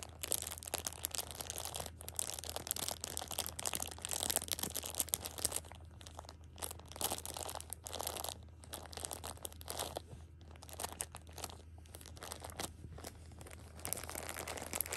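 A hand squeezes the edge of a plastic-wrapped six-pack of pocket tissues while fingernails scratch across the top of the crinkly plastic film. The result is dense, bright crinkling and scratching in quick bursts with a few brief pauses, over a steady low hum.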